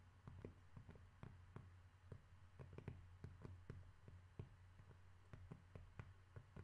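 A cork object is tapped repeatedly for ASMR with no talking, making a steady run of soft, dry, quick taps that die away almost instantly. A low, steady hum sits underneath throughout the quiet clip.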